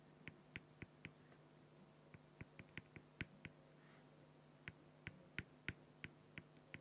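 A fine felt-tip marker makes short repeated strokes on a flat, clear acrylic plexiglass sheet. Eighteen quick, dry scratches with bright ticks come in two bursts separated by a pause, over a low steady hum. Each scratch dies away at once with no ring.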